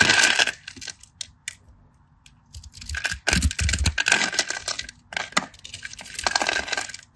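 A solid cream bar of soap, held in the fingers, is scraped and cut with a craft knife blade so flakes come off. Bursts of bright, crisp scraping and crackling come in uneven runs, with quiet gaps between them and low thumps around the middle of the clip.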